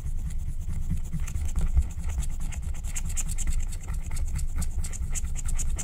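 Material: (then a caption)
Coated paper. A wooden stylus scratches the pink area of a flat, thin, black-coated scratch-art card made of wax-coated paper. The result is a steady, continuous rasping scratch with a low, rumbling body and bright, gritty streaks as the stroke repeats.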